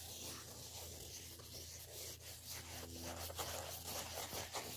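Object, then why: Woven fabric clutch handbag. A black woven-fabric clutch handbag is held in both hands while fingernails scratch and rub across its fabric face and fold. The result is a quiet, continuous, bright scratchy rubbing with soft irregular strokes over a steady low hum.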